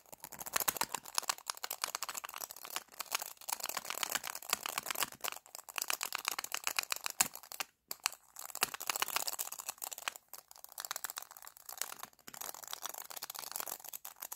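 Fingertips and nails tap and scratch along a small hollow plastic lipstick tube with a black base, a labelled pink body and a clear plastic cap, held horizontally. Dense, rapid, bright clicking and crinkly scratching runs almost continuously, with very short decay and no low end. There are brief pauses near the middle and toward the end.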